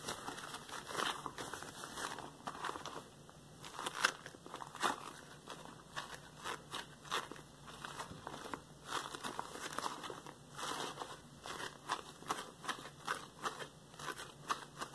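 Yellow latex rubber gloves worn on both hands have their palms and fingers rubbed and pressed together. The result is a steady run of squeaky, crinkly rubbing with sharp crackling bursts, mostly in the mids and highs with almost no low end.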